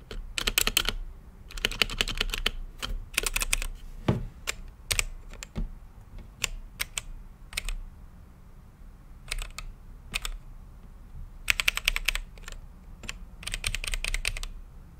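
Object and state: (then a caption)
Mechanical keyboard with plastic keycaps. Fingertips type on a full-size mechanical keyboard with Gateron brown switches, plastic keycaps and a translucent RGB-lit acrylic case. Bursts of quick, bright clicky taps alternate with single keystrokes and short pauses, over a low steady hum.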